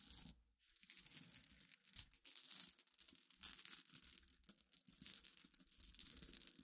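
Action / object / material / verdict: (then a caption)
scrape / small glass pebbles and glass chips / glass / none. Long dark-polished nails and fingertips scratch and rake through a pile of small, clear, flat-backed glass pebbles mixed with crushed glass chips on black cloth. The result is a dense, bright, crackling rustle of tiny clicks, with brief pauses.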